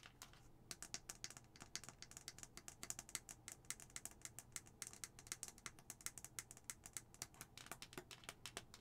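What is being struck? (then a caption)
Plastic skull-shaped cup and lid. A hollow white plastic skull-shaped cup is tapped with long nails on its face, then on its pink plastic lid. The result is a quick, dense run of light, bright clicking taps that die away almost instantly, over a faint low hum.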